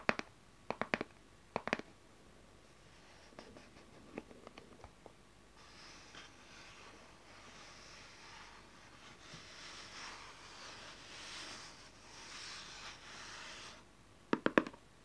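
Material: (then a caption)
Cardboard. Fingertips and long nails tap the front face of a small, closed, dark cardboard tarot card deck box with a printed "Mystical Crystal Ball" cover, held in the hand. Crisp, dry clicking taps come in quick clusters, then quieter light taps, followed by a long stretch of soft, hissy scratching across the surface. A final burst of sharp nail taps ends the clip.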